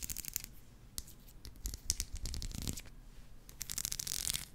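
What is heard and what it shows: A small black plastic hair comb with fine teeth is held close to the microphone while long nails and fingertips run and flick across its teeth. The result is a string of quick, dry plucking and scratching clicks with bright, crackly highs over a low rumble. The bursts thicken into a denser rasp near the end.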